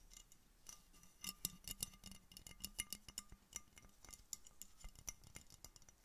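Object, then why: Glass bottle. An empty clear glass Coca-Cola bottle with a red label and cap is held sideways near the microphone and tapped with red-painted fingernails on a hand wearing a fingerless knit mitten. The result is a quiet, irregular series of sharp, bright clicks with a brief high glassy ping that dies away almost at once.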